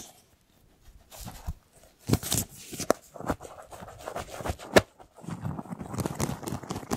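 Fingernails scratch the ribs of a large, hollow, empty, ribbed white flexible plastic duct tube, held compressed and tilted near the microphone. Dry, raspy scratching comes in uneven bursts, with a few sharp clicks standing out, and becomes a steadier rustle at the end.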